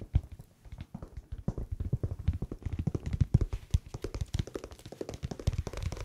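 Fingertips tap quickly and irregularly on a winter slipper whose sole is not anti-slip. The taps are soft, dull thumps with almost no ring, low and muffled, resembling tapping on leather.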